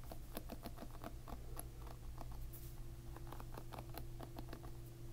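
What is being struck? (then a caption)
Plastic-pin hairbrush. A plastic-pin hairbrush is held upside down while a finger strums its plastic pins from below. It makes a quick, light patter of soft ticks and clicks over a steady low hum, staying quiet throughout.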